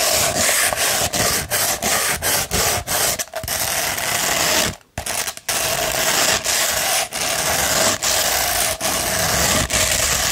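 A hollow tube of rolled beige 100-grit sandpaper is scratched along its length with long red nails, making a steady, bright, gritty rasp. The strokes run almost continuously, separated only by brief dips and one short silence just before the midpoint. A faint tone near 700 Hz hums beneath the scratching throughout.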